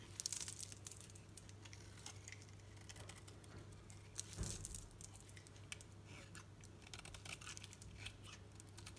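A solid green soap bar held in the palm is shaved with a knife blade, giving a run of dry, crisp scraping and crinkly, crackling ticks with bright top edges. The cuts come quick and close, with a louder crunchy burst near the middle, all over a steady low hum.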